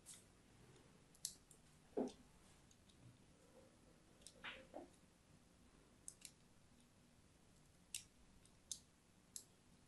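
A thin metal blade scratches diagonal lines into the surface of a pink and white striped solid soap bar held in a hand. About a dozen short, crisp clicks and scrapes sound in a quiet setting, each fading almost at once. A slightly fuller scrape is heard near the two-second mark.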